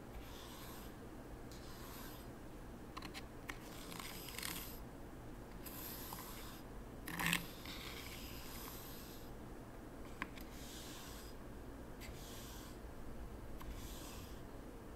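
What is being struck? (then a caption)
Fine sand in a wooden tray with a small wooden rake. A hand drags a small wooden T-shaped rake through fine white sand in a small wooden zen garden tray with no other objects in it, scraping and smoothing the surface. Soft, hissy scraping strokes come in repeated bursts over a low, steady background hum. One louder, sharper scrape stands out about halfway through.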